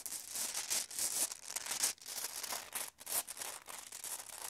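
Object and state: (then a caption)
Glass marbles shaken in a bag. Glass marbles are shaken and jostled inside a bag, making a dense, bright clicking rattle with almost no low end. The clatter runs nearly continuously, with brief lulls just before 2 seconds and around 3 seconds.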